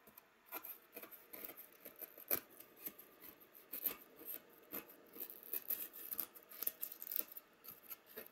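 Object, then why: Molded polystyrene foam packaging tray. A thin pointed stick held in hand scratches and scrapes the surface of a white, hollow, molded polystyrene foam packaging tray with cup-shaped cells. The result is a quiet, steady series of short, dry, squeaky scrapes with bright hiss and almost no low end, each stroke dying away almost at once.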